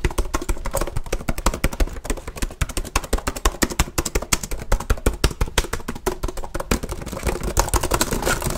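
One hand types fast and aggressively with its fingertips on the keys of a black plastic HP laptop keyboard, with a microphone nearby but untouched. The result is a rapid, uneven stream of short, dull plastic clacks and taps, heavy in low thump with little high ring, each dying away almost instantly.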